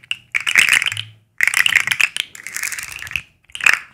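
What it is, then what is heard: Plastic articulated fidget slug toy. A black and white striped, segmented plastic fidget slug with hollow segments is bent and clicked with long acrylic nails close to the mics. Dense, bright plastic clicks and light rattling come in four bursts separated by short silences, centered high around 2.6 kHz. Each click is crisp and dry with almost no ring.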